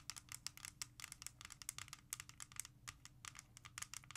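A CD in a small, hollow, clear plastic jewel case lying flat is rapidly tapped and scratched with long red nails. The result is a dense run of sharp, bright clicks and scratchy rattling with almost no ring, over a faint low hum.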